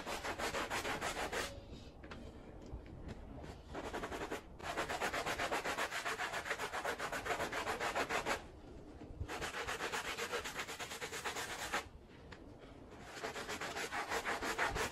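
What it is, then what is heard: Woven fabric rug being scrubbed. A handheld blue plastic bristle brush scrubs a small woven fabric rug soaked in soapy foam on the floor. It makes rapid, steady, bright rasping strokes in long bursts, broken by short quieter pauses.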